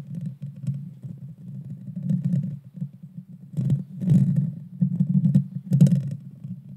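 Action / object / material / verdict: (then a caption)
scrape / metal mesh microphone grille / metal mesh / none. Long dark-painted fingernails scratch and tap the hollow, rounded metal mesh grille of a Blue Yeti Nano USB microphone with a red-brown body. The result is a dense, low, muffled rumbling scrape close to the mic, with louder bursts that add a brief bright crackle.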